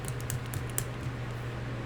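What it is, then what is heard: Paint marker with mixing bead rattling inside. An Artistro acrylic paint marker is shaken to activate the paint, and its small mixing bead rattles inside in four quick, bright clicks. A steady low hum sits underneath. The rattle confirms the bead is inside and moving freely, as it should, much like shaking a spray paint can.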